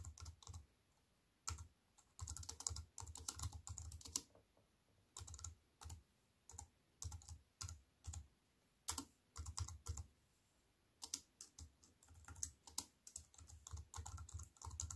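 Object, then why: Plastic computer keyboard keys. A compact wireless keyboard with black plastic keys on a grey metal-look frame, lying flat on a wooden table, is typed on with fingertips and long white-painted nails. Bursts of quick, dry tapping clicks come in rapid runs separated by short pauses, with a thudding low body under a bright, crisp click on each key. Each tap stops almost instantly with no ring.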